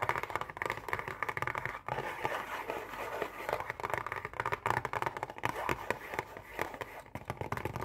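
Long painted nails rapidly tap and scratch on a hollow, printed cardboard Oreo cookie box. The result is a dense stream of quick, dry clicks and scrapes with a papery midrange and almost no ring.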